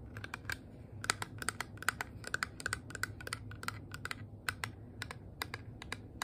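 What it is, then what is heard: Metal purse-shaped compact. A small, flat, hollow rose-gold metal compact shaped like a handbag, with a twisted handle and a heart clasp, is tapped and scratched with long nails. Quick, sharp clicks with a bright metallic ping around 1.5 kHz ring out in an irregular run over a low, steady hum, each tap dying almost instantly.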